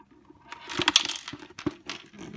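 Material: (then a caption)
Plastic. A plastic part from an Omega 8004 juice extractor, which has been leaking, is shaken and handled, producing bright, clicking rattles from a loose piece inside. The rattling comes in uneven bursts of sharp high-pitched ticks, a fault that calls for taking the unit apart to fix it.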